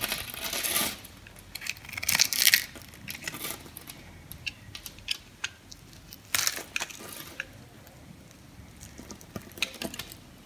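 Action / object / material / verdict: scrape / bar of soap cut with a knife / soap / none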